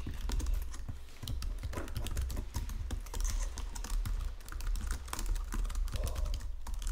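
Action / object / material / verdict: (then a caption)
tap / plastic computer keyboard / plastic / none. Fingertips with painted nails type across the low-profile keys of a full-size white and silver plastic Logitech keyboard resting on a marble desk. A quick, steady stream of soft clicks and taps is heard, each with a bright tick over a low thud and a very short decay.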